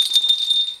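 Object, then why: Baby rattle with small bell inside. A baby's bell rattle is shaken, and the bell inside jingles with three quick, bright metallic bursts over a steady high ringing tone. The jingling fades out by the end.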